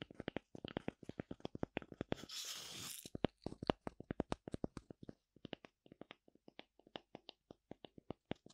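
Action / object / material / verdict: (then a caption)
scrape / wooden tree slice with bark / wood / none. A thin oval slice of light wood with a bark rim, held in the hand, is scratched and tapped by long nails across its flat cut surface. Many short, dry, clicking strokes follow one another, with a brief rough, hissing scrape in the middle. The sound is quiet and close.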